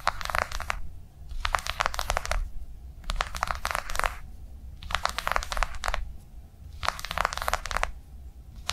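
Long nails on both hands tap quickly on a flat, blue, rectangular soft-plastic cardholder lying on a padded table. The tapping comes in five rapid bursts of crisp, dry, clicky taps with a bright edge, separated by short pauses. A steady low rumble sits underneath throughout.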